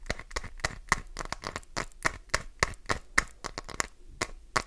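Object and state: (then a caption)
Glycerin soap bar scraped with nails. Long nails jab and scrape along the top edge of a solid green glycerin soap bar, sending flakes flying. A fast, uneven run of sharp, dry clicks and crackly scratches rises above a quiet hiss, each one bright and cut off almost at once.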